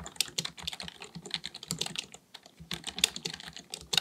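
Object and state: Plastic computer keyboard being typed on.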